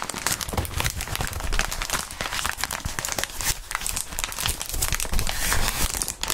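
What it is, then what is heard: Plastic bubble wrap. A wad of clear plastic bubble wrap is squeezed and crumpled between gloved hands. It makes a steady, dense crinkling and rustling with bright crackles and low, muffled handling thumps throughout.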